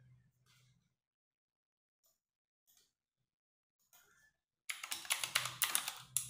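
A compact 60% RGB-backlit mechanical keyboard with plastic keycaps is typed on with fingertips and long nails. After a quiet opening with a faint low murmur and a few soft, scattered ticks, a burst of fast, bright, clacky keystrokes starts near the end. The clicks are crisp and short, with little low end.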